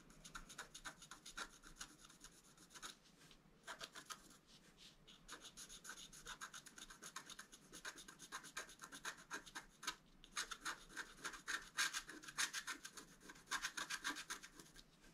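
A wooden stylus scratches the top area of a flat black-coated scratch art paper board, held in one hand, in short strokes. The result is a quiet, rapid, irregular series of dry, bright scratching rasps, about three or four per second, with a hissy top and almost no low end. Each stroke stops almost at once.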